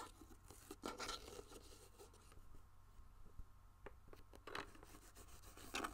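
A medium, hollow, white-and-pink hard plastic case held in the hand is rubbed with fingertips while nails scratch and tap across its surface. The result is quiet, dry scratching and rubbing with scattered sharp taps and brief bright bursts. A faint steady low hum and a thin tone around 1.3 kHz sit underneath.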